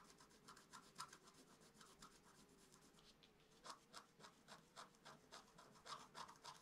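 A wooden stylus scratches small strokes into the coating of a flat black-coated scratch-art card lying on a table. A quiet, steady run of short, dry rasping scrapes repeats at an uneven pace, each one bright and papery with no ring. A faint low hum sits underneath.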